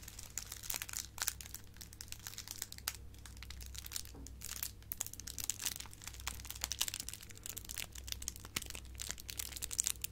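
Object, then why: Foil gift bow. A light, silver metallic foil gift bow decoration is crinkled and squeezed with fingertips and long nails. The result is a quiet, continuous stream of bright, crisp crinkles and crunches with many sharp little snaps, over a steady low hum.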